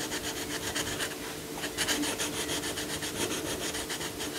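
A yellow coloured pencil makes small rubbing strokes around a lion's muzzle on a paper colouring book page lying flat. The rapid, bright, scratchy strokes come in a quick steady rhythm over a faint low hum.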